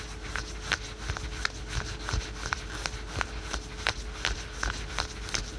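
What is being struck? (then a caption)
Stretch fabric leggings, spandex and polyester. Fingertips and short nails quickly scratch patterned spandex/polyester yoga pants worn on the thigh. About thirteen short, bright, irregularly spaced scratching strokes rasp over a low, steady background rumble and a faint constant hum.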